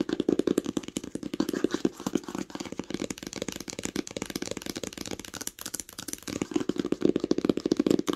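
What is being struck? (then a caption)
Cloth-bound hardcover book. Long nails tap rapidly on the cover of a green cloth-covered hardcover book lying flat, at times with one hand. The taps are quick, dry and muffled, with a mid-range thud and no ring. They come in dense bursts that are louder near the start and end.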